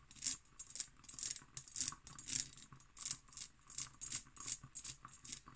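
Fingernails tap and scratch an empty hobnail cut glass decanter held in both hands. Quick, bright clicking and rasping bursts come in an irregular rhythm, each dying away almost at once with no lingering ring, over a faint low hum.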